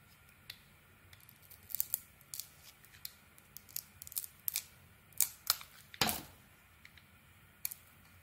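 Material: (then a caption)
Soap. A metal blade shaves the purple outer layer off a solid purple Sana Med soap bar with gold studs and a cream interior, held in the hand. A series of short, crisp, bright scraping and cutting strokes sounds over quiet background hiss, with one stronger, fuller cut near the end.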